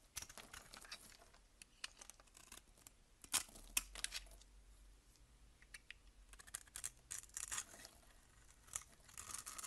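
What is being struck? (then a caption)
Bar of soap shaved with a blade. A box-cutter blade scrapes and shaves the surface of a solid cream bar soap held in the hand. Quiet, crisp, bright scraping strokes come in uneven bursts, with a few sharper louder scrapes and almost no low end.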